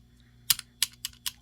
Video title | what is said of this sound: Figure Purchases for December 2022 (Christmas Gifts, Beast Wars, Marvel Legends & More!!!) | clicking like these little symbiote bits tapping on the the hollow back